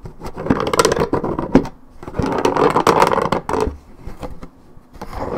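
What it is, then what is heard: Paperboard juice carton being scratched. Long red-painted fingernails scratch across the coated cardboard top and side of a 1.75 L Minute Maid paperboard orange juice carton held on its side. Dry, rasping scratch strokes come in irregular bursts, mostly in the low-mid to mid range, with brief quiet gaps between runs. The scratching grows softer and sparser toward the end.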